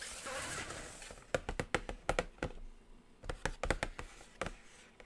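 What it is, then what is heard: Cardboard palette box, hollow. Long acrylic nails scratch across a flat, hollow black cardboard eyeshadow palette box, making a soft bright rasp for the first second. They then tap it in two quick clusters of crisp, hollow clicks with a faint mid-pitched ring, separated by a brief quiet pause.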